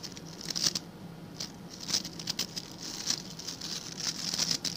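Fingertips and nails scratch the tufts of stiff white and blue plastic bristles on a hand-sized blue plastic scrub brush held close to the microphone. The result is a dry, bright, crackling patter in uneven bursts, with short louder scrapes standing out over a steady faint low hum.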